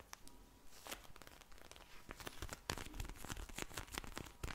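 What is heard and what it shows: A pink vinyl eye mask filled with gel beads is held in front of the microphone and tapped, scratched and squished with long blue nails and fingertips. The result is a quiet, irregular stream of crinkly, crackling taps and scratches with bright, sharp clicks.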